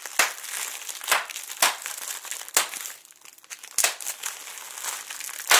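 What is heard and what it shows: A flat sheet of clear plastic bubble wrap with air-filled bubbles is held taut and squeezed and crinkled by fingertips and short nails. A steady bright crinkling rustle runs throughout, broken by sharper crackling bursts roughly every second, with a brief quieter lull near the middle.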